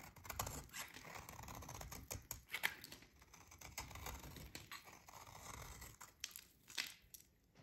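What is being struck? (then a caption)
Bar of soap scraped with a metal blade. A metal utility blade shaves and scrapes a solid, dry, yellow oval soap bar held in the hands, breaking off crumbly flakes. The sound is a quiet, bright, crackly scraping broken by irregular sharp, short clicks and snaps, fading softer at the end.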